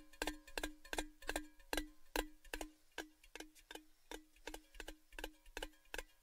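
A tall, hollow, empty orange-red cylindrical metal Baileys gift tin, held upside down close to the mic, is tapped with fingertips and nails in a steady, ticking rhythm. Each tap gives a short, bright metallic click with a brief ringing tone around 360 Hz that fades almost at once.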